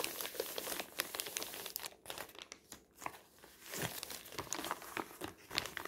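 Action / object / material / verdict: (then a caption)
scrape / thin paper flyer / paper / none. Hands lift a crumpled, thin white newsprint advertising flyer printed in pink with "20% korting" from where it lies flat on a table, then crumple and crinkle the sheet. The result is dense, bright, crackling paper rustle with short sharp snaps, easing into quieter, sparser crinkles for a moment midway before picking up again.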